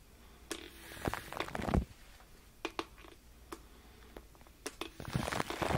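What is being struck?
Aluminum foil over a microphone.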